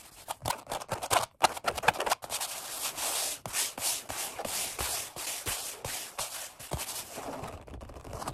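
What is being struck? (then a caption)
Vinyl-upholstered foam bench pad. Fingertips tap and scratch rapidly on the black padded seat of a Flybird workout bench, vinyl stretched over foam. Quick, dry taps come in an irregular burst over the first two seconds, then give way to a steady, bright scratching texture with soft taps scattered through it.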